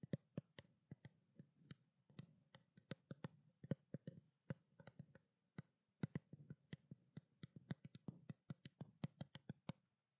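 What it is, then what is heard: Plastic skincare bottle tapped with nails. Long black nails tap a small hollow white plastic bottle of skincare water in a quick, uneven run of dozens of crisp clicks. Each tap is a sharp, bright tick over a soft, low hollow thump from the bottle, dying away almost at once.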